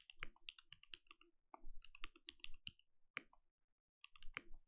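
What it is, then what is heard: Mechanical keyboard with plastic keycaps. Fingertips of both hands type on a compact mechanical keyboard with plastic keycaps and a lit translucent case. The result is rapid, dense clicking and clacking with short, bright ticks over soft thocks, pausing briefly before resuming.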